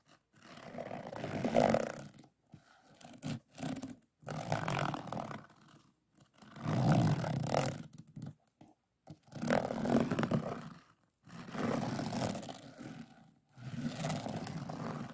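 Fingertips and a pink plastic drill pen rub and scratch across a finished, solid diamond painting of an evening sky, covered in small faceted plastic resin drills on an adhesive canvas and lying on a wooden table. Dense, low, rasping scrapes come in bursts of a second or two, separated by short silences.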